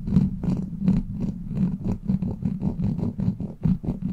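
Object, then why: Steel mesh microphone grille scratched with plastic nails. Long black plastic claw nails scratch over the top and sides of a hollow steel mesh microphone grille. The result is a quick run of rough, scratchy strokes with a deep, boomy body around 200 Hz and faint brighter streaks on each pass.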